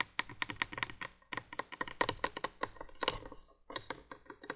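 Long nails tap rapidly on the hollow plastic base of a 1980s window candolier light, making a quick run of sharp, dry clicks. The taps are bright and brief with almost no ring or low end, and a short pause comes before the tapping resumes.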